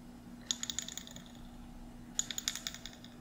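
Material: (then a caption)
Glass, metal. Fingernails tap the metal screw lid and glass sides of a small glass mason jar held in both hands. The taps come in two quick bursts of bright, clicky hits with almost no ring, over a faint steady low hum.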